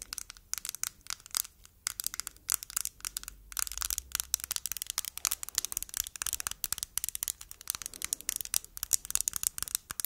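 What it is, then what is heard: Plastic tomato-shaped jar tapped with nails. A palm-sized, glossy red, hollow hard-plastic cosmetic jar shaped like a tomato is tapped and handled with long nails, held close and then at arm's length. Dense, rapid, bright clicks and crinkly tapping run throughout with no low end and almost no ring.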